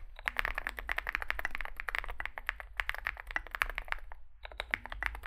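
Both hands type continuously with their fingertips on a compact 65% Zoom65 mechanical keyboard with an aluminium case, foam filling, lubed switches and SA plastic keycaps, resting on a desk mat. It makes a rapid stream of short, crisp clacks with a bright midrange snap and almost no ring, over a faint low hum. The typing pauses briefly near the four-second mark before resuming.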